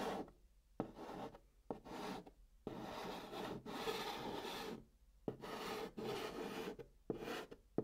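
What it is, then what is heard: Chalk scratching on a cardboard box. A hand writes the word "Night" in chalk on the flat top of a brown kraft cardboard box. Dry, raspy scratching strokes come in short bursts separated by brief pauses, with a mostly mid-range, papery texture and a few sharp taps as the chalk lands.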